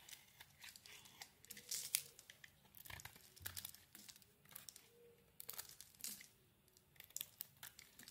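A utility knife blade shaves the purple coating and the soap off a solid green bar of soap held in the hand. The result is a quiet, irregular run of bright, crisp scraping and crackling strokes, each dying away almost at once, with very little low end.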